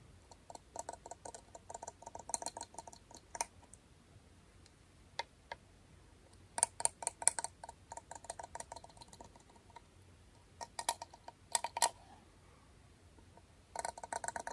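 A closed, small round aluminum beard balm tin is held in one hand while the teeth of a dark comb are dragged across its edge and lid. This produces bursts of fast, dry ticking scrapes with a bright metallic edge and a tonal ping near 1 kHz. The bursts are separated by short quiet gaps over a faint low hum.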